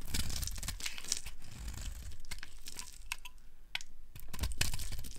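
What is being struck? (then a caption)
Bar of soap scraped with a metal blade. A black-handled metal blade scrapes and shaves flakes off the edge of a solid, hand-sized, bright yellow rectangular bar of dry soap held in a hand with long pink nails, the shavings piling up on a grey wooden surface. Dry, crisp scraping and crumbly crunching strokes repeat irregularly, with sharp bright bursts over a steady low rumble.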